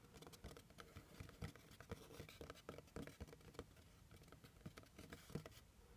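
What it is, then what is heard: Cardboard box. Fingernails tap quickly on the top and edge of a hollow brown kraft cardboard box. The result is a quiet, rapid patter of short, dull taps, with a low hollow body and only a faint bright click on each tap.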